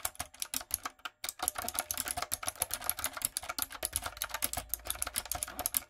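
Fingertips and long nails type quickly on a light-up, typewriter-style retro mechanical keyboard with round plastic keycaps. Crisp, bright clacks follow one another in a steady stream, with one brief pause just after the first second. Each keystroke is short and dry, and sharp high ticks sit over a soft low thud.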